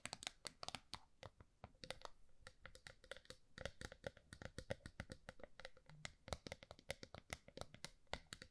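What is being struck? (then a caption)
Small round metal tin. A small round gold metal tin is held upright and then flat while long nails scratch and tap its top. The result is a quiet, rapid run of short, dry clicks and scratches with bright edges, each dying away almost at once, over a faint steady hum.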